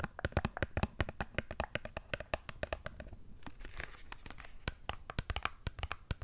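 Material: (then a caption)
Cardboard. Long nails tap and scratch a small printed cardboard Dove soap box, closed and holding a bar. Quick, irregular dry taps make sharp clicks with a dull low thump beneath. Midway, the taps give way to a brief rasping scratch before they resume.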